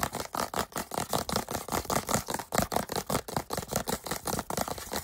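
Fingertips and nails rapidly tap and scratch the surface of a small soft plastic SPF 55 sunscreen tube held close to the microphone. About 27 quick, crisp taps and scrapes follow one another in a loose, uneven rhythm. Each has a bright, dry texture and almost no ring.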